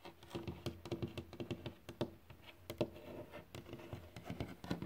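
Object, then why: Varnished wooden board. Fingertips tap and scratch on a glossy, solid varnished wood board such as a sill or floor. Quick, dull taps with a woody tone around 340 Hz come in irregular clusters, mixed with soft scratching. Each tap dies away almost at once.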